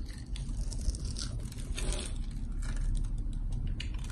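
A solid green and white striped bar of soap, held in the hand, is carved and scraped with a box-cutter blade, cutting off slices and shavings. Steady dry scraping and crackling sit over a constant low rumble, with brighter scratchy bursts as the blade drags through the soap.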